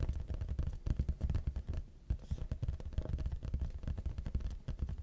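A large, flat, hollow red printed cardboard YoungLA clothing box is held upright in front of the mic and tapped with the fingertips on its front face. Rapid, uneven runs of soft, deep, hollow thuds follow one another with a brief pause in the middle. Each tap is dull and dies away almost at once.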